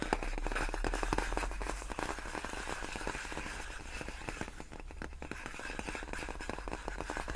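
Both hands tap long nails on large, clear, inflated plastic air-column packaging made of hollow air-filled tubes. The result is a rapid, fairly irregular stream of short, dry clicking taps with a crackly edge over a steady low rumble. The taps fade a little partway through and then continue.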